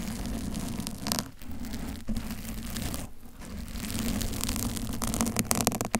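Long acrylic nails on both hands scratch a soft, porous pink teddy-bear-shaped foam cover over a silver microphone, while a blue-covered mic beside it stays untouched. The result is a continuous rough, crackling scratch with a heavy low rumble and a steady low hum near 210 Hz. Bright crinkly bursts flare up throughout, with a few brief dips where the scratching eases.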